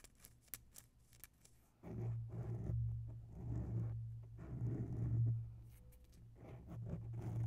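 Long nails of both hands scratch both sides of a grey oval foam microphone windscreen. A few faint, crisp ticks come first, then a loud, muffled, low rumbling scratch with a steady low hum swells and eases in slow waves until the end.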